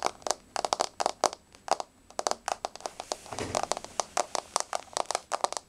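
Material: Wood.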